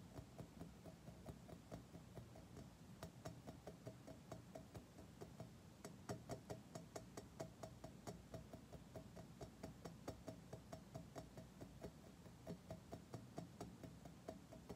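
A polished, curved chrome-plated metal object resting on carpet is tapped and knocked with fingertips and nails. Around three dozen quiet, short taps come at a loose, uneven pace of roughly two per second. Each gives a brief metallic ping around 600–700 Hz over a low, muffled background, fading within a fraction of a second.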